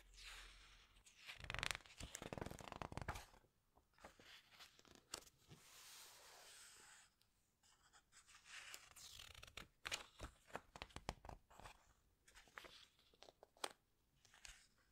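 Flat fingertips squeeze and rub the glossy paper pages of a large open hardcover book, then turn several pages. Bright, crinkly rustles and sharp page-flip snaps alternate with quieter, smooth sliding swells as the fingers rub across the pages.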